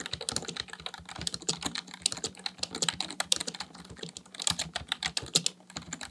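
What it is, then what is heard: Plastic computer keyboard being typed on. Fingertips type rapidly on the keys of a black plastic full-size computer keyboard resting on a desk. Dense, fast clicks and clacks come in an uneven stream, bright and high with little low end, each keystroke short and dry with almost no ring. A faint steady low hum runs underneath throughout.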